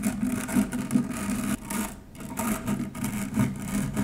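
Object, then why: Stainless steel wire-mesh strainer. An upturned stainless steel wire-mesh strainer is scratched with the long nails of both hands. The result is a steady, raspy metallic scratching with uneven surges and a faint low hum underneath. The sound dips briefly quieter around the midpoint before picking back up.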